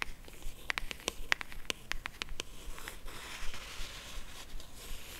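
A small, hollow, cream rigid cardboard jewelry box, held in both hands, is tapped and scratched along its edges and lid with long acrylic nails. A quick, irregular run of sharp, dry clicks with a bright, papery tone fills the first half, with no ring after each tap. It then gives way to a softer, continuous scratchy rustle.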